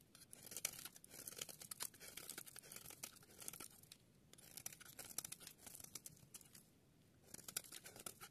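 A metal utility blade scrapes and shaves flakes from one end of a solid yellow bar of dry soap held in the hand, sped up to double speed. Quiet, dry, bright scraping and crisp crunching come in rapid, tightly packed strokes. Brief pauses fall near the 4-second and 7-second marks.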